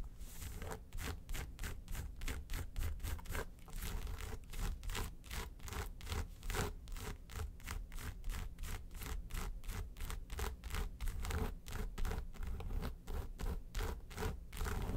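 Long nails rub and scratch quickly back and forth across the lid of a small, hollow, yellow textured faux-leather makeup suitcase. The result is a steady run of brushing, scratchy strokes with bright hiss over a deep, hollow low rumble, with no pauses across the clip.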